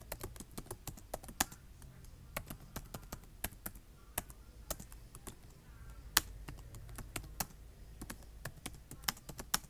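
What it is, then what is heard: Plastic laptop keyboard being typed on. Fingertips with short nails type on a black plastic laptop keyboard, tapping the keys in an uneven run of quick, sharp clicks. Each tap is bright and dies away almost at once, with occasional louder strikes standing out over a soft, low background rumble.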